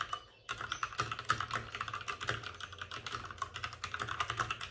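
Both hands tap rapidly with their fingertips on the plastic keycaps of a white plastic backlit RGB mechanical computer keyboard resting on a desk with a padded wrist rest. After a brief quiet gap near the start, a dense, continuous stream of crisp, short clicks follows, centered around 1.3 kHz with bright upper edges, each dying away almost instantly.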